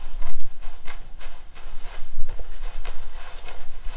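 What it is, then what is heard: Synthetic hair wig being scratched. Fingertips with long nails lift and rub the long black synthetic hair of a wig on a mannequin head, working near the scalp along the part. A series of soft, bright scratching strokes rises and falls over a steady low rumble.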